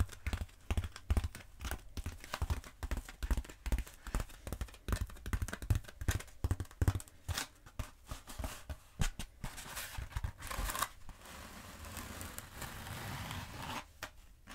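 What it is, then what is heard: Bead foam roller. Long acrylic nails tap and scratch along the length of a long black bead foam roller. Rapid, dull, low-heavy taps fill most of the clip, then give way to a steadier, brighter scratching hiss near the end before a few final taps.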